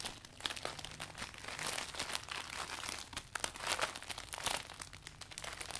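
Hands wrap around and squeeze the furled canopy of a closed, clear polka-dot vinyl umbrella, crinkling it. Dense, bright crackles and crunches come in quick irregular bursts with no ring, and the plastic keeps rustling throughout.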